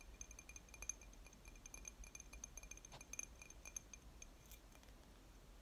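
A glass object is tapped lightly and repeatedly in close, quiet ASMR-style tapping. The taps give bright, high clinks with a glassy ring that dies away almost at once, over a low steady hum.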